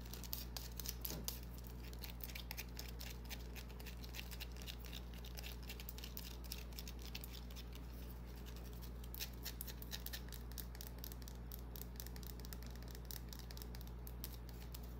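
A small, solid white bar of soap held in the hand is scratched and tapped with long, dark-painted nails. The result is a quiet, continuous stream of crisp, bright scratches and quick clicks over a steady low hum.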